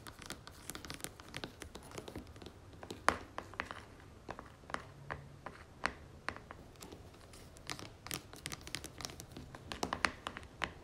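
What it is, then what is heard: Plastic cream jar. Long fingernails tap and scratch the plastic lid of a red-lidded plastic cream jar held in both hands. Quick, dry, bright clicks and taps are scattered over a soft, continuous scratching rustle, with a low hum underneath.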